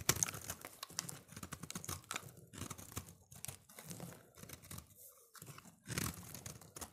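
A solid, rounded green soap bar is held in the hand while its face is scraped and shaved with a utility-knife blade. The clip is a run of dry, crisp, crunchy scraping strokes with a bright, papery edge and a soft low thump under each pass. There is a brief pause near the end before a louder final stroke.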